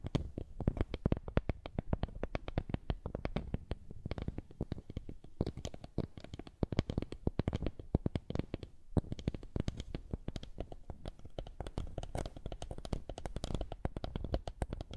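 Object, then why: Small woven wooden coaster. A small, flat, woven wooden lattice coaster is held close to the microphone and rubbed and tapped with fingertips. The result is a dense, continuous run of soft, dry clicks and scratchy taps with a deep, muffled body and very little high end. Each tap dies away almost instantly.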